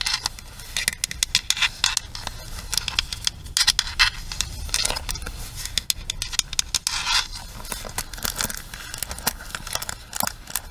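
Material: Plastic.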